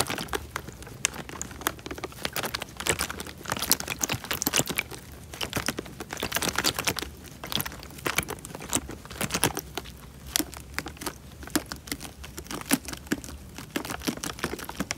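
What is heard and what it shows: An elongated, clear plastic bag full of water is squeezed and crinkled between fingertips and thumb. A steady stream of sharp, bright crackles and crinkles continues throughout, with quick, tight snaps and brief louder bursts over a faint low rumble.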